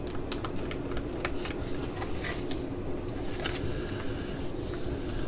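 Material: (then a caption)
Plastic foil. A small, full, flat green laminated plastic-foil scalp-pack pouch is held and tapped and scratched with long nails. Quick, bright crinkly ticks and scratchy rustles repeat over a steady low hum, at an even, quiet level throughout.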